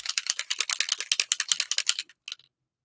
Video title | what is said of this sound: LAYOUT FUN WITH "SUNKISSED" BY COCOA VANILLA | i like to hear that ball move around